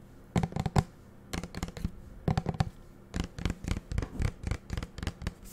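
Fingernails tap and scratch a small green plastic shower gel bottle with a black cap. Quick, dull clicks come in short clustered bursts with brief quiet gaps between them. Each tap dies away almost at once, and the sound stays low and muffled.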